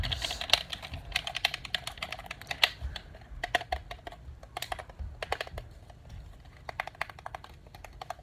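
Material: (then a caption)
Plastic. Fingertips quickly tap and click the buttons and body of a hollow, hand-sized black plastic PlayStation controller held in both hands. The result is a fast, irregular stream of short, sharp, bright plastic clicks and taps that stop dead with no ring, over a soft low rumble.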